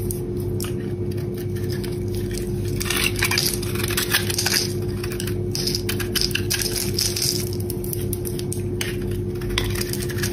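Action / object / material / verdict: scrape / bar of soap shaved with a metal blade / soap / none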